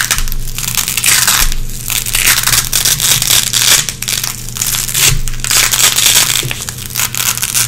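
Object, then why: Nylon hook-and-loop (velcro) strip. Long red-painted fingernails pick and scratch at a small, flat, gray nylon hook-and-loop strip held in the hands, pulling lint from the hooks. Dense, bright scratchy crackling and rasping comes in rough, overlapping bursts that swell and dip, over a steady low hum.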